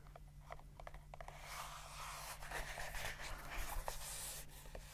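A small brown leather pouch or sheath with a snap flap is held in the hands and tapped and scratched with the fingertips and fingernails. A quick series of light, soft taps gives way to a steady, hissing scratch and rub across the leather, with a few more taps near the end over a faint low hum.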